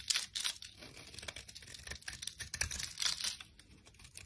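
A solid rectangular bar of orange soap, held in a hand with long lilac nails, is scraped with a utility knife blade into fine crumbly shavings. A series of bright, dry scratching and crumbling strokes are heard close up, with bursts of high crackle and little low end.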